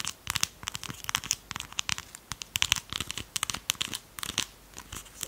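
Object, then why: Small plastic lip gloss tube. Long pastel nails tap and scratch along the sides of a small red plastic lip gloss tube that looks full and is held in both hands. The result is a rapid, uneven run of sharp, bright clicks and crisp scratching with almost no low end.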